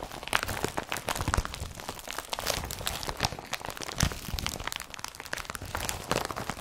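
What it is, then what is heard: Woven polypropylene bag. An empty blue IKEA BRATTBY carrier bag of woven polypropylene plastic has its strap and body rubbed and tapped with fingertips. Dense crinkling and crunchy rustling mix with short, sharp taps, each dying away almost instantly.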